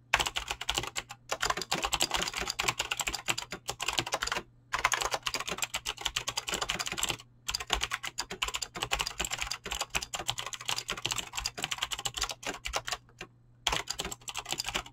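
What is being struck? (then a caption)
Mechanical keyboard with plastic keycaps. Fingertips with short painted nails type fast on a full-size mechanical keyboard with Razer green clicky switches and pink-blue PBT plastic keycaps resting on a desk. A dense, steady stream of sharp, bright clicks and clacks runs throughout, broken only by a few brief pauses.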